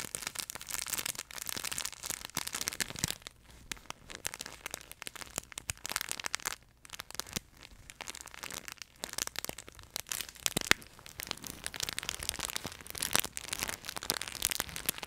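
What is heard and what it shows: The neck of a yellow plush chicken pet toy, fabric with a crinkle film layer inside, is squeezed and twisted in both hands close to the microphone. It gives a steady stream of bright, crackling crinkles with short quieter gaps, then grows busier toward the end.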